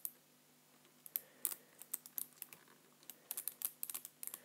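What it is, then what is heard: Plastic computer keyboard. Fingertips type on the keys of a black plastic computer keyboard as a hand moves across it. Soft, bright, dry clicks come in an irregular run, each dying away almost instantly over a quiet background with a faint low hum.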